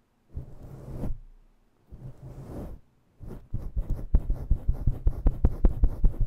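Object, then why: Synthetic fur microphone windscreen. Long nails scratch and rake a fluffy faux-fur microphone windscreen with both hands in fast motion. Two longer muffled rubbing swishes are followed by a quick, steady run of scratching strokes. The sound is deep, thumping and low, with almost no bright content.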